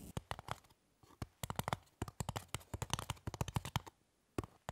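Long fingernails on both hands scratch and tap the top of a small, solid, rectangular white styrofoam block lying on a table. The result is a quick, irregular run of short, dry, squeaky-crackly scrapes and taps with brief silent pauses. Each sound stops almost instantly, with no ring.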